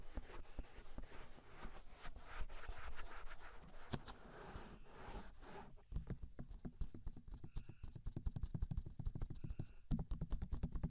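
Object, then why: Silicone microphone ears. Fingertips rub and tap the hollow, soft silicone ears on both sides of a 3Dio binaural microphone. The first half is a dense, scratchy rubbing, then it turns into a quick run of many muffled, deep thumping taps with very little ring.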